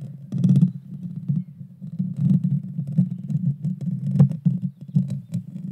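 Long dark fingernails of both hands scratch the hollow metal mesh grille of a Blue Yeti Nano microphone. The result is a dense, low rumbling scrape centered around 140 Hz, with nearly all of its energy below 200 Hz. It swells and dips in quick bursts, with occasional faint bright crackles on top.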